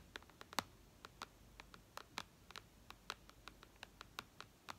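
Long red nails tap and scratch across the glass screen of a flat white iPad. About twenty sharp, quiet clicks come at an irregular pace, each dying away almost instantly. Faint scratching fills the gaps between them.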